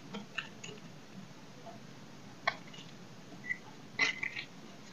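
A knife blade scrapes and cuts a solid oval dry soap bar held in the hand over a pile of shavings. Several short, crisp, bright scraping snaps stand out against a quiet, faint background hiss, with a quick cluster of cuts near the end.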